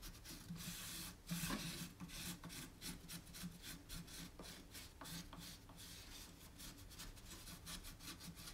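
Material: Wood.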